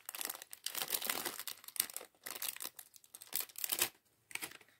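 A small clear plastic bag full of LEGO plastic bricks is held in both hands while fingertips squeeze and crinkle it. Bright, dense bursts of crinkling come in several bunches, with the bricks inside shifting and clicking softly.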